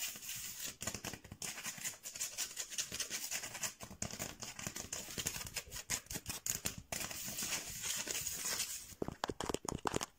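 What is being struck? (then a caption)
Bamboo slat mat. Fingernails and fingertips scratch and tap across a flat mat of thin painted bamboo slats joined with string. The sound is a bright, dry, continuous rasping with rapid crisp clicks, and sharper separate taps come in over the last second.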